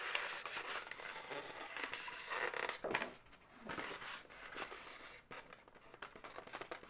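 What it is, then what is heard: Hollow inflated latex balloon. Long nails tap and scratch along the segments of an inflated, hollow, light pink latex balloon dog. The result is a quiet, continuous run of dry, bright scratching and rubbing with short, quick taps, a squeaky rubbery tone near 2.4 kHz, and almost no low end. The sound fades briefly around the middle before the scratching picks up again.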